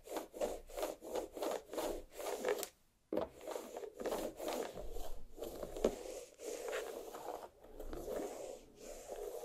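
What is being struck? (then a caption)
Watermelon half, rind. Long black nails on both hands scratch and rub the rind of a large, solid watermelon half resting on a plate. Quick, rhythmic rasping strokes with a dry, mid-toned scrape follow one another, stop briefly around three seconds, then return as longer, smoother rubbing.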